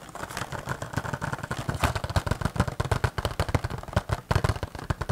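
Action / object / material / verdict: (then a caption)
tap / cardboard box with clear plastic window / cardboard / none. A small green cardboard toy box with a clear plastic window and a figure inside is tapped rapidly with fingertips and nails close to the microphone. The result is a dense run of short, dull, hollow thumps with a low boxy body and light clicks from the nails.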